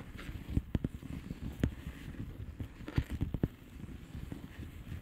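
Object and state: Plastic bubble wrap envelope.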